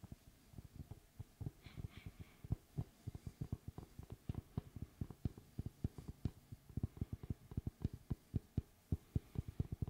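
Fingertips tap and knock on the flat face of a large, round, solid wood tree slice with a bark rim, held at its side. A quick run of dull, low, thumping knocks comes in an uneven, irregular rhythm, each hit short and dry with almost no ring.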